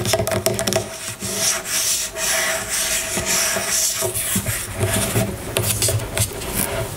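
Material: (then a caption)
Plastic. Long nails scratch along the label of an amber plastic oil bottle lying on a table, producing a continuous, dry, rasping rub with bright hiss and a faint steady tone underneath. The scratching rises and falls in short strokes without pause throughout.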